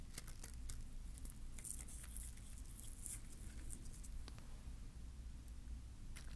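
A small green bottle-brush Christmas tree with glittery plastic bristles on a wooden base is held in one hand while one fingertip scratches and brushes the bristles. Soft, bright crackly rustles and scratches come in quick bursts over a steady low hum. The sound stays quiet throughout.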